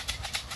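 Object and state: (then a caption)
Plastic box of grain feed shaken, full. A plastic box full of pigeon feed is shaken, giving three bright, rattling, maraca-like bursts of grain against plastic. The sound signals feeding time and calls young racing homer pigeons, which are trained to come into the loft when they hear it.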